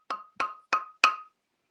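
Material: Mahogany.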